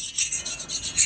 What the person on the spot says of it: we have 55, and it's still skating. It bites a tiny bit here and there, so it's probably around the 55 point